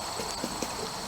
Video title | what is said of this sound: Early September Garden tour part 1 | it should sound pretty hollow when it's ready